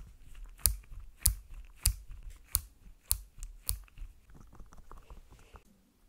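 Long pink nails tap a small white plastic bunny figurine held in one hand. About six sharp, bright clicks land roughly every 0.6 seconds, followed by a run of softer, quicker, irregular taps that fade out. Each tap stops almost instantly, with no ring.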